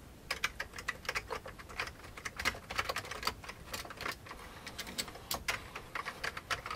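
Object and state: Plastic computer keyboard being typed on.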